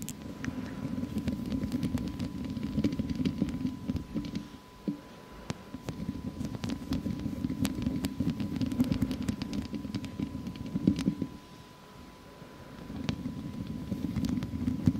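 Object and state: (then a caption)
Metal mesh microphone grille. Long acrylic press-on nails scratch and tap the hollow wire-mesh grille of a large studio microphone with both hands. The result is a dense, low rasping scratch broken by sharp, bright clicks, with two brief quieter pauses before the scratching resumes.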